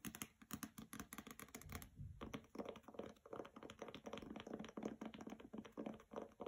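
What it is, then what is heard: Hardcover book with glossy dust jacket. A hardcover copy of the novel "Graceling" with a glossy paper dust jacket lies on a carpet while long nails tap quickly on its cover and edges. The result is a rapid, steady patter of short, dry clicks over a soft, muted thud, with a brief lull just before the two-second mark.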